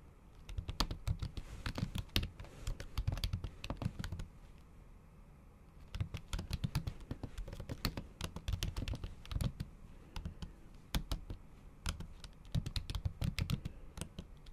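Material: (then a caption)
Plastic. Tips of long acrylic nails tap fast and repeatedly on a MacBook keyboard whose solid keys sit under a thin pink patterned plastic/silicone cover. The result is a rapid stream of dull, muffled, mostly low-pitched keystrokes with short bright clicks. The taps break off into brief pauses near the fifth and eleventh seconds before resuming.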